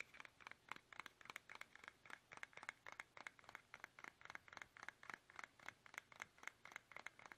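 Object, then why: Soft plastic toothpaste tube. Fingertips tap fast on a small, soft, hollow plastic toothpaste tube held upright in both hands, making 33 quick, dry, crinkly clicks and scratchy taps. Each hit is bright and papery with almost no low end, and it cuts off right away in a steady, rapid rhythm.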